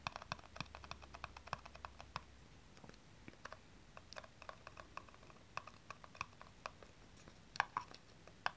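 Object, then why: Small hollow plastic aerosol cap. Long nails tap and scratch the flat top and sides of a small, hollow, blue plastic aerosol cap. The result is dozens of quick, dry, bright clicks in an irregular rhythm, with soft scratchy brushing between them. A faint low hum sits underneath during the first two seconds.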